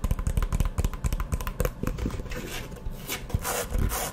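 A hollow, map-print faux leather hard eyeglasses case is opened and closed, then tapped and scratched with long nails. Quick, irregular, dull taps with a low, hollow thump come first, giving way to brighter, hissing scratches across the surface toward the end.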